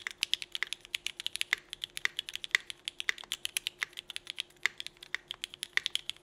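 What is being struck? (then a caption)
Mechanical keyboard with plastic keycaps. A 65% mechanical keyboard with red and black GMK ABS plastic keycaps on an aluminum plate is typed on steadily with the fingertips of both hands. The result is a fast, even run of short, crisp clicks and clacks with bright, high-pitched attacks and almost no low end. A faint steady hum sits beneath the clicks.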